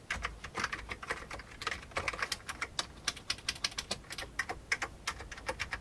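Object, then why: Plastic computer keyboard. Fingertips of both hands type fast on the keycaps of a full-size old beige plastic computer keyboard with a hollow plastic case. About 35 quick, bright, clicky keystrokes in uneven bursts, each dying away almost instantly, with a hollow plastic clatter and very little low end.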